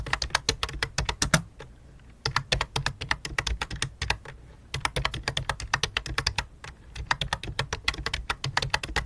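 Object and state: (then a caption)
Plastic computer keyboard. Fast fingertip typing on a full-size white and light-blue plastic computer keyboard with a hollow plastic body. Quick, bright clicky taps come in rapid bursts with brief pauses around 2 and 4.5 seconds, each key sound short and dry over a faint low hum.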